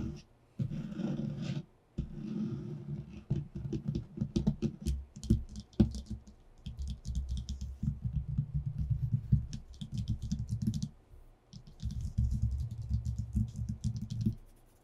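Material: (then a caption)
Paper. Both hands tap rapidly and scratch with short nails and fingertips on a flat white sheet of paper lying on a wooden table. A dense, low-heavy patter of quick taps blends with brighter, papery scratching strokes, broken by a few brief pauses.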